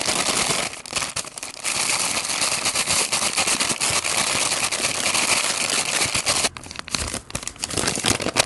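A small white paper McDonald's Shaka Shaka Chicken bag holding a fried chicken patty and seasoning powder is gripped in both hands, shaken, then folded open to show the chicken. The paper gives a dense, bright crinkling and crackling rustle that runs almost continuously, with brief lulls near the start and again around the six-and-a-half to seven-second mark.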